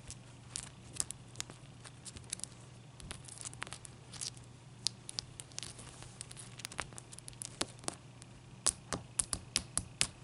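A large, clear, solid, wet ice cube is scratched with long nails and moved about on a towel. Sharp, bright scratches and crackling clicks come in quick, uneven bursts over a soft, steady low hum, growing louder and more frequent toward the end.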